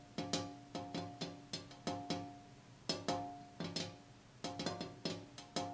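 Fingers tap on the glass pane of a window in irregular clusters of light, quick knocks. Each tap has a bright click and a short, hollow ringing tone that fades quickly before the next group.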